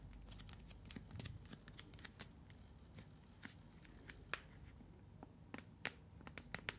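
Fingertips and long nails tap, scratch and grip a hand-sized, hollow, blue translucent plastic container with a lid. A quiet, rapid series of short, dry clicks and taps with bright edges rises over a soft low rumble and faint scratchy rustling.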